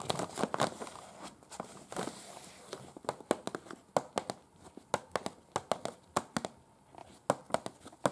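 Long pointed acrylic nails scratch and tap a large, unfolded, thin printed paper museum guide sheet with photos and text lying flat. Soft crinkly scratching and rustling give way to a series of sharp, dry, clicking taps on the paper, each dying away almost instantly.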